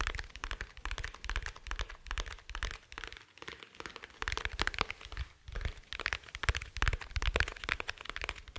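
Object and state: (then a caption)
Hard glasses case tapped. Fingertips and nails tap quickly on the surface of a small, dark, rigid, hollow glasses case held near the microphone. The result is a dense run of short, dry clicks and hollow knocks, each with a low thump beneath a bright tick, stopping almost instantly. The tapping briefly thins out in a couple of spots before picking up again.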